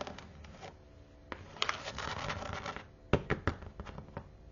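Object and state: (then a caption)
Faux-leather book cover. Long nails tap and scratch across the textured teal perforated faux-leather cover of a thick Bible. Scattered soft taps give way to a longer dry scratching rustle in the middle. The clip ends with a few sharp, louder taps and lighter scratches.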